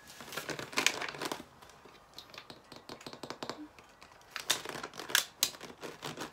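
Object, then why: Plastic water bottle. A small clear plastic drinking water bottle with a white cap and label, apparently still holding water, is held in the hands and tapped or scratched with the fingernails. Bright, crinkly plastic clicks and scratches come in quick bursts, with almost no low end and no ring after each touch. A dense flurry at the start gives way to sparser, softer taps, then sharper, louder crackles near the end.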